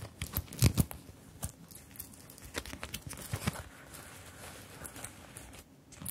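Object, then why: Fabric purse covered in plastic sequins. A small zippered fabric purse covered in round plastic sequins is held in both hands while long-nailed fingertips tap and scratch over the sequins and zip. Sharp, clicky taps with bright crinkling scratches are loudest in the first second and again around the middle. They then settle into a softer, steady rustle before a few taps return at the end.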